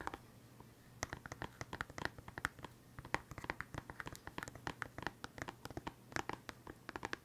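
Fingernails scratch and tap a small, hollow, transparent plastic case full of colored felt-tip pens while it is held up. A rapid, irregular stream of short, crisp clicks and scratchy ticks, bright and quick to die away, plays over a faint steady low hum.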